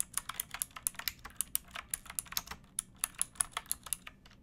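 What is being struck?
Plastic mechanical keyboard keys.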